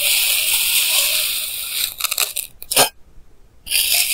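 A clear plastic knife held in hand slices thin layers from a solid block of pink kinetic sand, recorded close with a clip mic. A steady, bright, hissing scrape gives way to a quick run of crisp crunching bursts. After a brief silence, the scraping starts again.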